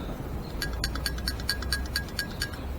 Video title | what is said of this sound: Ford/Holley 94 carb tear down and reassembly! Ford V8 Flathead Hot Rod Carburettor Hints and Tips | when I shake this, you should hear two things rattling